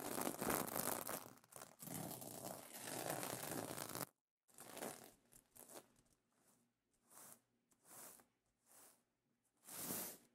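Fingernails and fingertips scratch and brush across iridescent plastic sequin fabric on a pillow cover. A dense, crackling, scratchy rustle fills the first four seconds, then cuts off to silence. Sparser brushing strokes follow, ending in a few separate, soft, bright swishes with quiet gaps between them.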